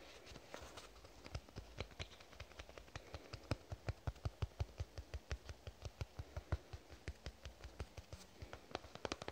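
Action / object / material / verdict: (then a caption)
tap / soft plastic squeeze tube / plastic / none. A lavender soft plastic cosmetic squeeze tube, held in both hands, is tapped with fingernails in a quick, uneven run of sharp, dry clicks. Each tap is short with a dull low thump and almost no ring, over a faint steady background hiss.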